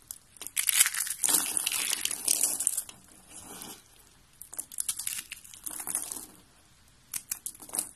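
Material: Soap.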